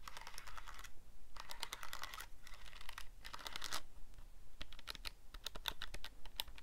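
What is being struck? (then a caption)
Plastic calculator keypad. Fingertips rapidly press the plastic keys of a calculator keypad, producing quick, bright clicking in dense bursts separated by short pauses. The clicks are short and dry over a faint, steady low hum, and the tapping becomes sparser and more distinct toward the end.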